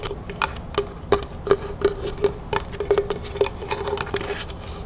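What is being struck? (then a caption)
Small carved wooden box. Long natural fingernails tap quickly on the top and sides of a small, hollow, lidded box carved from dark natural wood with bark-like sides, held in the hand. The taps come in an irregular run of sharp, bright clicks, each carrying a brief hollow knock near 400 Hz that dies away almost at once.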